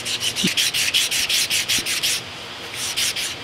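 A hand holds abrasive paper flat against the rusty surface of the large, solid cylindrical cast iron/steel overhead ram of a stuck K&T horizontal milling machine and sands it briskly back and forth. The result is a rapid run of bright, hissing rubbing strokes centred around 3 kHz, with a short pause before the last few strokes.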